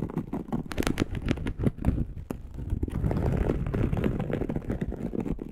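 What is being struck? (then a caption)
Polyester mesh fabric sheet. Long acrylic nails on both hands scratch across a dark polyester mesh fabric bed sheet. Dense, rapid scratching strokes pile on one another, each dry and quickly fading, with a heavy low rumble under faint high scratchy edges. The scratching carries on steadily throughout.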